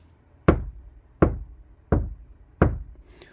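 Four knocks on the center of a steel Sportage NQ5 car door panel, treated with damping material and resin bonding that have cured for a couple of days. Each knock is a short, low, solid thud with almost no ringing. The door gives a woody tone that is neither dull nor fully clear.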